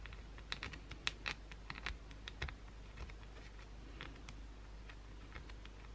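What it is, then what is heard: Bar of soap scratched with nails. Long pointed blue acrylic nails aggressively scratch a solid white bar of soap held in the hand. Quick, irregular, bright scratchy clicks and taps sound over a steady low hum, each one short and dry with almost no ring.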